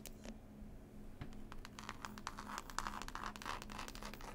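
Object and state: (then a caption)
Cloth-covered hardcover book, solid. Several long pointed nails rapidly scratch and tap the green textured cloth cover of a closed, solid hardback book with a picture label. The result is a quiet, dry, crackly rasp with quick bright ticks that gets a little busier and louder toward the end, over a faint steady low hum.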